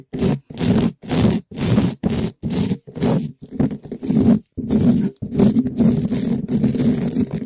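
A gloved hand rubs and scratches a black metal mesh microphone grille, a hollow dome, with a small yellow spiky rubber ball in quick strokes. The result is loud, scratchy scraping bursts with a heavy low rumble, separated by short silences at first and then merging into continuous rubbing.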